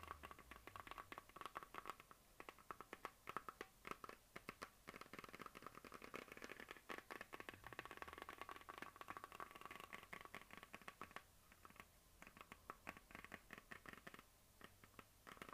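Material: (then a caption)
Plastic. A medium hollow plastic map globe on a stand is tapped and scratched quickly with the long nails of both hands. The result is a dense, quiet patter of short, dry clicks and scrapes with a hollow plastic tone centred around 1.3 kHz, each tap dying away almost instantly.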